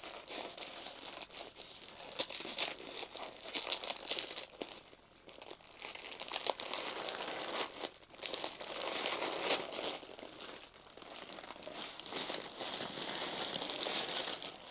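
Thin white tissue paper wrapped around a flat box is pressed, folded and rubbed by fingertips and palm, crinkling and crumpling the sheet. The result is a continuous, dense, bright crackle of dry rustles and small crunches that swells and eases, with a brief quieter dip near the middle.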